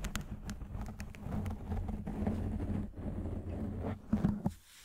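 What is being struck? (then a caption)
Foam microphone windscreen. Both hands grip a soft, porous, fist-sized black foam windscreen over a microphone and scratch it with fingertips and short nails. The result is a dense, muffled scratching and rubbing with a deep, boomy rumble and a low steady hum. A few louder, sharper bursts come near the end before the sound fades to quiet.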